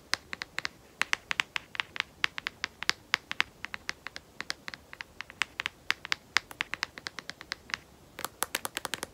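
Long nails tap and scratch the back of a smartphone in a solid black matte rubberized plastic case, making a rapid, irregular stream of dry, sharp clicks. The clicks are bright and high with almost no low end, and each dies away instantly over a faint background hiss.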